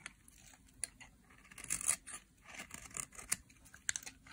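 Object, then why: Bar of soap scraped with a metal blade. A solid green dry soap bar is scraped and shaved with a metal blade, pushing flakes off its edge. Quiet, bright, crisp scratching and shaving strokes sound in short bursts, each dying away almost at once.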